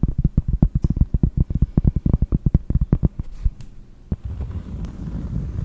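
Long nails tap rapidly on a round, flat, solid cork disc, giving about 28 dull, low thuds that stop almost instantly with no ring. The tapping then gives way to a softer, steady, low scratching rustle as the nails drag across the cork.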